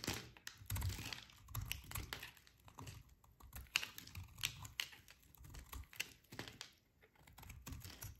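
A short metal blade shaves along the edge of a solid, hand-sized bar of dry pale yellow soap held in one hand, cutting off brittle flakes. Quick, crisp scraping strokes follow one another with bright clicks and crackles over a soft low rumble, each dying away almost at once.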